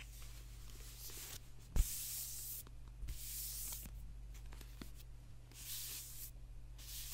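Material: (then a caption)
Paper. Fingertips and nails scratch and tap the paper cover of a thick, dark, solid paperback book held in both hands, which is then laid down. Soft, hissy scratching comes in bursts, with one sharp tap standing out near the start. It all sits over a steady low hum in a quiet setting.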